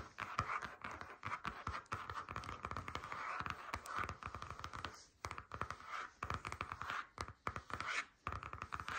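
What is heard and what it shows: Long nails tap and scratch across the surface of a flat grey stitched faux leather folder lying on a table. Quick, dry taps mix with a steady scratchy rubbing centered around 1.2 kHz. The sound continues almost throughout, with brief pauses near 5 and 8 seconds.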